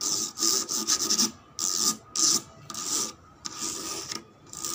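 Long red nails scratch repeatedly along the ribs of a cream plastic slide rail with a ribbed cylindrical section, lying on a stone floor. The result is a series of bright, high-pitched rasping strokes separated by short pauses.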